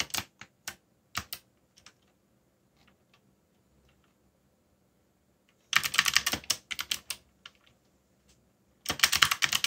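Fingertips type on a backlit mechanical keyboard with dark plastic keycaps. Scattered, bright, sharp clicks with almost no ring open the clip, followed by a near-silent pause. Two dense bursts of rapid keystrokes come in around the sixth second and again near the end.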